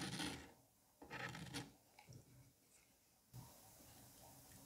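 A metal curette scrapes and gouges small grooves into a palm-sized solid dome of green kinetic sand. It makes raspy, gritty scraping bursts with bright, high-frequency grain, followed by softer scratches. The clip ends in a steady, quiet, hissing rub.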